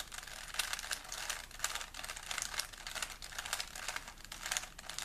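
A small solid plastic 3x3 Rubik's cube is held in both hands while the fingertips rapidly twist its layers. The result is a dense run of bright plastic clicks and rubbing, with little low end and each click dying away quickly.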